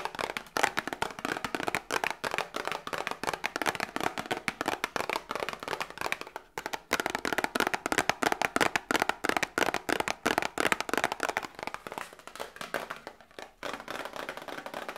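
Long nails rapidly tap and scratch a small, hollow cardboard Grippostad medicine box held close. The dense, crackly clicks are dry and papery, centered in the midrange with some bright edge and almost no low end. They pause briefly around 6.5 and 13.5 seconds.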